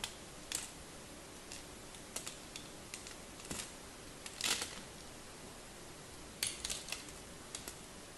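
A palm-sized solid pink-and-white striped bar of soap is held in one hand while a small craft knife blade carves and scrapes its surface, dropping flakes below. Soft, dry, high scraping ticks and crisp cuts come in scattered bursts over a faint steady hiss, with a few brighter, longer scrapes standing out.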